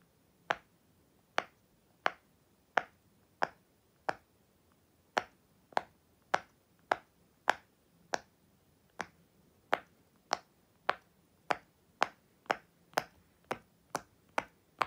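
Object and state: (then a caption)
Silicone pop-it toy being popped. Fingertips with long white nails press and pop the hollow bubbles of a flat, unicorn-shaped silicone push-pop toy one by one while the other hand steadies it. About 24 short, dry, snappy pops ring out, each ending almost instantly, against a quiet background. They come at a steady, unhurried pace that quickens slightly toward the end.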